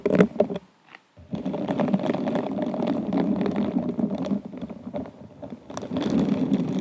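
A pink silicone-gloved hand rubs and scratches the bowl of an inverted, hollow, empty glass wine glass covered in rhinestones. The result is a dense, crackly scratching with a warm low-mid body, rising in quick bursts at the start. After a brief near-silent pause around one second, it settles into steady, continuous rubbing for the rest of the clip.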